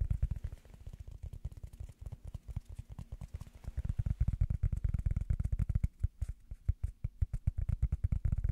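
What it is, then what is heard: Tapped rubber foam. Fingers tap on a piece of rubber foam as an ASMR tapping trigger. A rapid, steady stream of soft, dull thuds sits almost entirely in the low end, each dying away at once with no ring.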